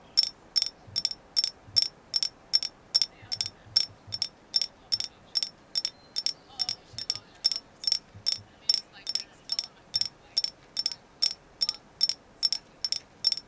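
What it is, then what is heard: Agate stone carving. Light taps on a carved agate moon goddess figure, confirmed as agate, make a steady run of sharp, bright clicks at about two and a half per second. Each tap is high and glassy, dies away almost instantly, and is backed by faint, soft low thumps.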